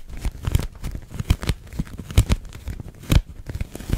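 Long nails tap and scratch a large, hollow, clear pink thin plastic dome held in front of the face. The result is an uneven run of short crinkly, crackling plastic taps and scrapes, with a heavy low thump and several sharper, brighter bursts.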